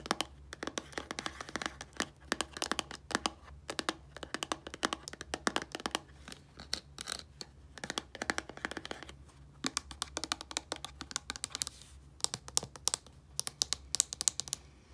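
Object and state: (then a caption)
Plastic shampoo bottle. Long painted nails rapidly tap and scratch on the label of a small, hollow white plastic shampoo bottle with a blue cap. Dozens of sharp, bright clicks and scratches rise over a faint low hum, each dying away instantly.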